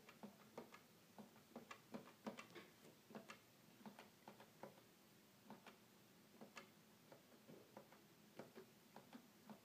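Fingertips press and tap the plastic keys of a hollow red plastic toy keyboard, producing a quiet, uneven string of short clicky taps. Each tap dies away almost at once, with a hollow body around 230 Hz and a bright click on top, over a faint steady hiss.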